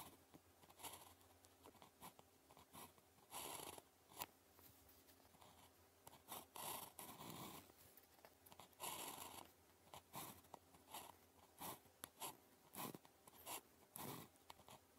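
A ballpoint pen scratches continuous strokes across a thin sheet of red-grid paper lying flat while writing Chinese characters. Short bursts of dry, bright scratching come and go in irregular strokes, with a faint steady hum between them.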